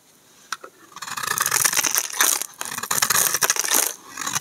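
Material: Soap.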